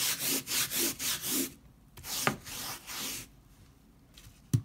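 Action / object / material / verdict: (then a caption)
scrape / textile pile rug scrubbed with a stiff plastic brush / textile / none. A hand scrubs a flat leopard-print pile rug on a tiled floor, dusted with white cleaning powder, back and forth with a white plastic stiff-bristle brush. The result is a rhythmic run of bright, hissy bristle strokes, then a short pause, a few slower strokes, and a sharp knock at the very end.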